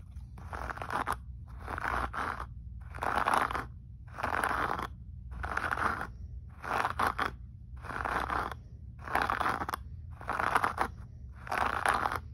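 A blue handheld brush is scrubbed back and forth across a dark grey-brown carpet with a short, dense pile. About ten separate bursts of crunchy, scratchy bristle noise centred in the mids, each with a faint bright edge, are broken by brief pauses. A steady low hum runs underneath throughout.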